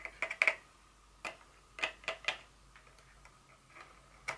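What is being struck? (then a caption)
Small cardboard box insert. Very long fingernails tap and scratch a small, hollow, empty white cardboard inner box from a Dior fragrance, lying on a table with its flaps open. Nine short, dry, bright clicks land in irregular clusters, each dying away almost instantly, with faint scratching in between.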